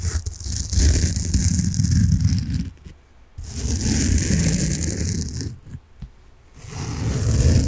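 A large, solid, peach-coloured soft foam sponge is held in both hands and scratched and rubbed with fingernails. The result is three long bursts of dense, scratchy rubbing, separated by short quiet gaps, with a heavy low rumble under a bright, airy hiss.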